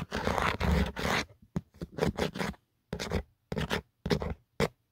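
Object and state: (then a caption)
Plastic phone case, scratched. Fingertips and short nails scratch and scrape the ridged inner pattern and edge of an empty black Otterbox plastic phone case, a hollow shell. Three long rasping scrapes open the clip, followed by a string of shorter, separated scratching strokes with dry, gritty texture.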